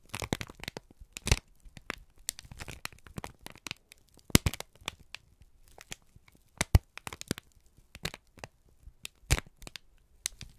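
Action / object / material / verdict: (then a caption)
scrape / kraft paper sheet / paper / none. A wrinkled strip of brown kraft paper is squeezed and crinkled in both hands. It makes a steady run of dry crackles and crisp, sharp snaps spread across the clip, with bright rustling between louder bursts.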